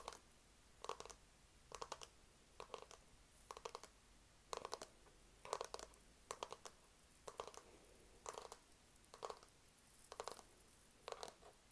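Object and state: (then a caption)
Plastic lamp tapped and scratched. A hand-sized white cloud-shaped lamp, likely hard plastic and probably hollow, is held close and tapped and scratched with fingertips and nails. About a dozen short bursts of quick clicky taps and scrapes come roughly once a second, each with a hollow midrange knock and a bright, crisp edge over a quiet background.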